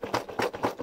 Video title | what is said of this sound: 레고 프로모션 103863 2023년 레고 다이어리 캘린더 세트 - 리뷰_Review_레고매니아_LEGO Mania | 이거 흔들어 보니까 아까 약간 들려요